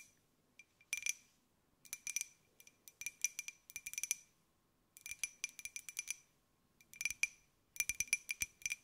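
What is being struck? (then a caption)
Glazed ceramic jar. Long nails tap a small, hollow, white glazed ceramic jar with a pineapple print, making bright clinking sounds. The taps come in quick bursts separated by short silences, each with a sharp ringing tone near 2.4 kHz that fades almost at once.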